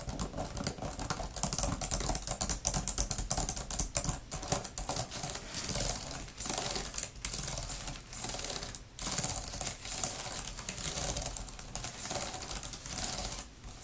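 Long-nailed fingertips type fast on a grey, thin plastic laptop type-cover keyboard with flat plastic keys. A dense, continuous stream of quick, bright plastic clicks and taps is heard, each dying away almost instantly, with brief pauses between bursts.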